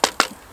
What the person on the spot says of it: the stock's got a little bit of a hollow knock on it it's not something i'm going to get too concerned about